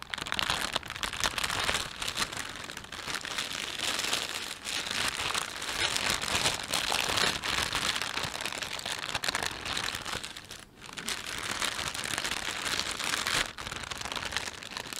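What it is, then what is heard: Thin plastic bag crinkling. Fingertips rub and stretch a thin, empty plastic panda shopping bag, producing dense, continuous crinkling and crackling that is bright and hissy with almost no low end. The sound runs steadily for the whole clip, with brief dips around 10.7 and 13.5 seconds before the crinkling resumes.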